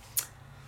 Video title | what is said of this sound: #447 Who knew you could do so much with Couture Creations Alcohol Markers and Sizzix Opulent Paper | that sounds like plastic right doesn't sound like paper sounds like plastic because it kind of is